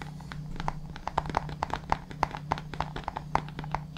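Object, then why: Plastic supplement tub. Fingertips tap and scratch the lid and labelled side of a white plastic supplement tub held upright beside the mic. The result is a quick, irregular run of short, dry, hollow plastic taps with a mid-pitched tick, with soft scratching between them over a steady low hum.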